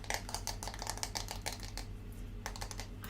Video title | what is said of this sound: ASMR * 2+ HRs Tapping & Organizing our ASMR Bin!! * Soft Spoken Compilation | I love the sound of this wood